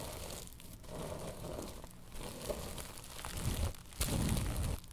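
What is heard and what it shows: Long nails scratch across a woven tapestry bolster pillow, making a steady rough, crinkly rasp with a heavy low rumble beneath it. The scratching swells into louder, brighter strokes near the end before dropping off.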